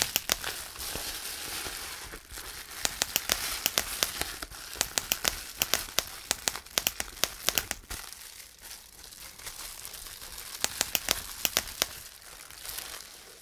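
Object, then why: Plastic bubble wrap. A sheet of clear plastic bubble wrap is grabbed, twisted and crumpled by hand, giving a steady bright crinkling of plastic. Many sharp, dry bubble pops snap out over it in scattered bursts throughout.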